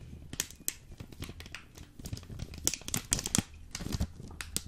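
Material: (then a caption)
Plastic foil. Fingertips and nails tap and scratch a full, hard-packed, hand-sized Jacobs Krönung ground coffee brick in a green plastic and foil vacuum pack. The result is a fast, irregular run of sharp, bright crinkling clicks and scratches with a dull low thump beneath them. Each sound stops almost at once.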